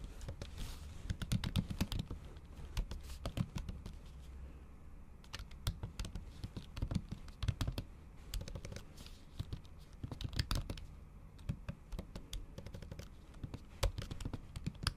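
Long acrylic nails tap and type on a MacBook keyboard covered by a thin pink plastic or silicone cover. The result is a steady run of quick, dry clicks and taps with brief bright ticks over a soft, low thud, each hit dying away at once.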